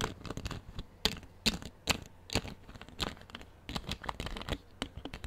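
A clear plastic drinking-water bottle, hollow and partly full of water, is held in one hand close to the microphone and handled with the fingers. Its thin plastic gives a quick, irregular series of sharp crinkling and scratching crackles with bright edges, each dying away almost instantly.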